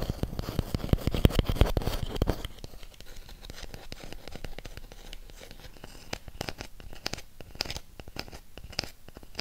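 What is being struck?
Thick round cork disc.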